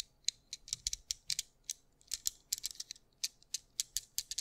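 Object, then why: Plastic fidget cube. Fingertips click, roll and ratchet the buttons and gears of a small white plastic fidget cube held in the fingers. Quick bursts of sharp, dry, bright clicks and ratcheting ticks come in irregular clusters, each dying away almost instantly. There is almost nothing in the low end.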